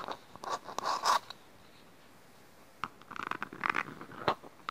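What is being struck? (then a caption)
Small plastic bowl scratched by fingernails. Fingertips and nails scratch and rub the outer surface of a small, hollow, empty green plastic bowl held upside down close to the microphone. Dry, crackly rasps come in short bursts with a midrange hollow tone and some bright edges. A silent pause of over a second separates the first burst of scratching from a second one.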